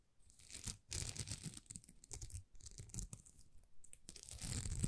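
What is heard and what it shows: Long nails scratch across a thin, flexible sheet of small plastic rhinestone stickers that is bent slightly. The result is bursts of dry, rapid scratching and crackling with a bright hiss and a soft low rumble underneath. The bursts swell and fade in uneven waves.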